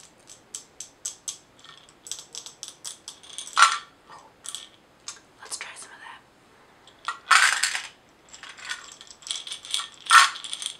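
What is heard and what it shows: A glass mason jar filled with small items and topped with a metal lid is tilted and shaken while long nails tap the glass and the lid. The taps come as a quick series of bright, high clicks, broken by louder rattling bursts as the small items shift inside the jar.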